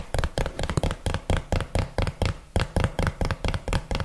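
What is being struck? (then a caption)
Small cardboard box tapped with fingernails. A small, hollow, printed yellow cardboard box is held flat in one hand and tapped with the long fingernails of the other. About 17 quick, dull taps sound in an uneven rhythm, each a low, hollow thud with a faint nail click and no ring.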